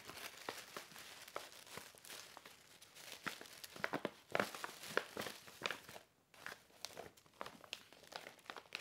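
A medium black-and-white striped paper gift bag, hollow with white tissue paper inside, is handled, opened and folded with fingertips and nails. It makes continuous crinkling and crackling paper sounds with many sharp, bright snaps, and a brief pause near the six-second mark before the rustling resumes.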